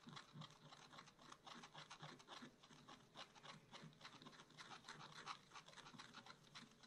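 A wooden stylus scratches leaves and a bear's ear into a black-coated scratch-art card held in a spiral book. Quiet, quick, irregular strokes make a dry, raspy scratching with a bright edge, each stroke short with no ring.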